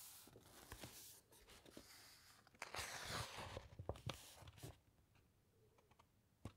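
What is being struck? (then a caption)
Thick printed paper pages of an open book. Long nails from both hands tap and scratch across a printed page of an open, thick-paged paper encyclopaedia, then lift a page corner. Quiet, crisp tapping clicks mix with bright, papery scratching and rustling that swells in the middle. The sound thins to a few scattered light taps at the end.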